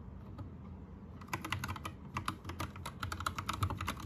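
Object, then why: Plastic mechanical keyboard. Fingertips of both hands type on an Anne Pro 2 60% mechanical keyboard with plastic keycaps, Gateron red switches and a teal backlight. After about a second of low, steady hum, a quick run of short, crisp plastic clacks begins and continues irregularly to the end, each keystroke dying away almost instantly.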